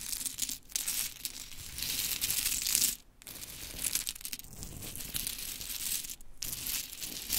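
Long chrome stiletto nails rake, scratch and scoop through a pile of small, solid, painted pink wooden mini clothespins with tiny metal springs on a glittery fabric mat. The clothespins clatter together in a dense, bright, crinkly rattle that runs almost continuously, broken by brief quiet gaps near 0.6, 3 and 6.3 seconds.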